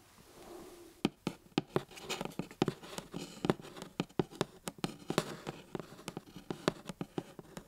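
Fingertips and nails scratch and tap the face of a small white printed cardboard camcorder box held in one hand. After about a second of soft, low rustling, a steady run of sharp, dry, close taps begins, with brief scratchy friction between them. Each tap dies away almost instantly with no ring.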